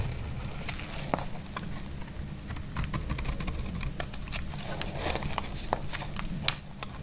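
A thin remaining piece of dry, solid green bar soap is held in the hand and scraped and shaved with a snap-off blade. Quiet, crisp scraping and sharp little clicks and snaps scatter across the clip over a steady low rumble, with one brighter crack standing out near the end.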